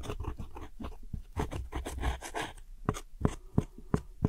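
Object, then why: Pressed powder eyeshadow in a plastic palette. A metal hook tool scratches and crumbles a brown wedge of pressed powder eyeshadow in a round plastic palette of wedge-shaped brown pans. Dense, gritty scraping and crunching comes first, then sharp, separate taps and clicks, all low and dry with almost no ring.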